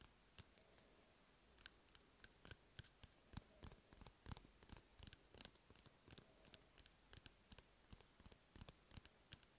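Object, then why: Cardboard toilet paper roll. Fingertips and nails tap and scratch along an empty, hollow cardboard toilet paper roll. The result is a quiet, irregular run of short, dry, bright clicks and ticks with brief scratchy rasps. The taps are sparse at first, then come in quick, uneven clusters, each dying away almost instantly.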